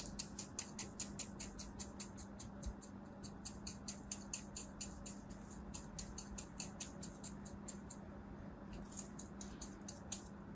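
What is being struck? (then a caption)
Kinetic sand block cut with a thin blade. A thin knife blade scores a crosshatch into a solid beige kinetic sand mound resting on a palm with long white nails. A quick, steady run of soft, bright, crisp ticking scrapes plays over a faint low hum, with a brief pause near the end before the cuts resume.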